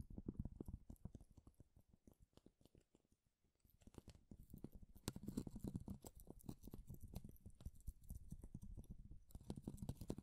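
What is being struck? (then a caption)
Thin wooden shaving strip. A long, thin, fibrous wooden shaving strip held between both hands is rubbed and scratched with the fingertips and nails. It makes a quiet, dense run of soft crackling scratches, mostly low and dull. The scratching eases off briefly around the middle, then returns more steadily with brighter crisp edges.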